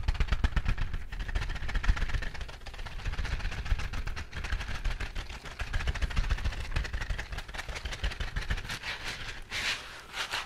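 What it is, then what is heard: Silicone scrubbing glove. A bristled green silicone scrubbing glove is rubbed and scratched quickly with fingertips and palm. The result is a dense, rapid stream of scratchy strokes over heavy, low thumping rumble. A brighter, hissier scrape flares briefly near the end.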